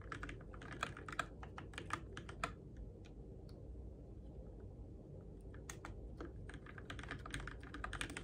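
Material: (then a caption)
Plastic. Fingertips type on the plastic keycaps of a Keychron K6 compact RGB-backlit mechanical keyboard in the dark, producing quick bursts of sharp, bright clacks. The typing slows to a few scattered taps in the middle before picking up again, all over a steady low hum.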